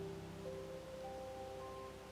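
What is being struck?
Nothing is struck.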